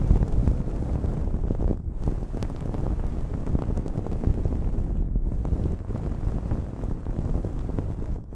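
Long nails scratch a blue cotton terry cloth towel draped over a microphone. The result is a steady, muffled, low rumbling scrape with almost no bright content, dipping only briefly between strokes.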